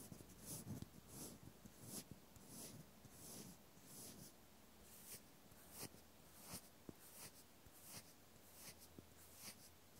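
A small white plastic clothespin with a metal spring is handled and scratched with fingertips and nails. Soft, bright scratching bursts repeat at an uneven pace over a low, quiet background, with a couple of sharper clicks.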